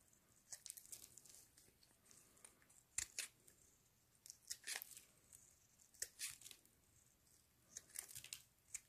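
A metal utility-knife blade shaves and carves curls off the surface of a rectangular pale green solid bar of soap held in black-gloved hands, with the shavings piling up below. It produces a run of quiet, crisp, bright scraping and cutting strokes with a tearing, crinkly texture, spaced irregularly with short gaps between them.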